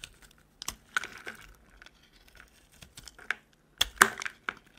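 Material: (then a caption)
Soap. A metal utility knife blade shaves curls off a solid, rectangular, dry green soap bar held in the hand. The result is a series of short, crisp, bright scraping and crumbling sounds that end quickly, with the loudest cuts near the end.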